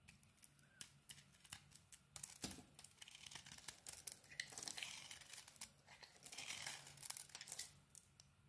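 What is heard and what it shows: A small metal blade peels the yellow rind off a solid yellow bar of soap and scrapes its white core into crumbly flakes. The result is a quiet, bright, dry scraping and crinkling texture, broken by many sharp, quick ticks and a few longer raspy strokes, with almost no low end.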